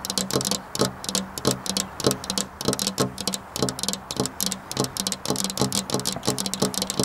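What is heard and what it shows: Long black-polished nails tap on a flat glass window pane in a rapid, uneven rhythm. Each tap is a short, bright click with a brief, dull low ring that dies away almost at once.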